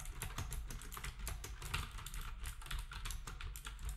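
Fingertips of both hands type rapidly on a black wireless typewriter-style keyboard with round plastic keycaps and a hollow plastic housing. A fast, steady stream of short, bright clacks runs over a constant low hum, each tap fading quickly.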